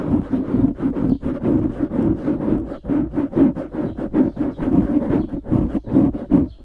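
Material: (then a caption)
Foam. Fingers grip, squeeze and scratch a dark grey foam windscreen on a microphone. The result is a steady run of close, muffled scratching bursts with a warm, low-mid rumble and almost no bright top end.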